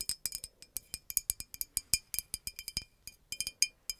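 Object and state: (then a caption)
Glass bottle tapped with fingernails. Long nails tap along a hollow green glass bottle with a red cap. About 25 quick, irregular taps are heard, each a bright, high glassy clink with tones stacked high up and almost no low end. Every tap dies away almost instantly with no lingering ring.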